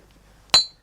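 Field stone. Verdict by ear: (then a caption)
Sound. A field stone picked from the vineyards is struck once while building a dry-stone vineyard hut. It gives a single bright, clear clink with a high ring that fades within a fraction of a second. The ringing tone shows the stone is very sound, with no cracks.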